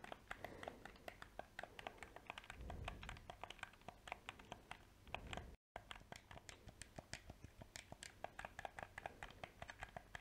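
A small, hollow, black plastic PS4 controller is held in both hands while its buttons are clicked rapidly and its shell is tapped with painted fingernails and fingertips. The result is a steady stream of short, dry, bright clicks and taps with almost no ring, plus a soft low rumble near the three-second mark. The sound cuts to a brief silence just before the six-second point, then the clicking continues.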